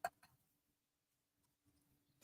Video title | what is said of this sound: 📷How To: Easy Dipping Acrylic Nails 101 With 2 in 1 Acrylic Powder & Dipping Essentials | when you tap it in and you hear that sound it mean it's ready for